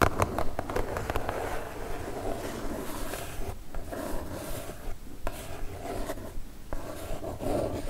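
Long fingernails tap on a kraft cardboard mailer box with quick, dull, low-pitched knocks. Then a single nail scratches across the cardboard surface in a soft, steady rasp.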